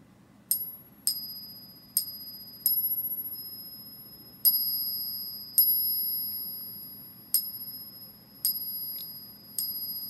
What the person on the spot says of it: we can hear that distinctive ring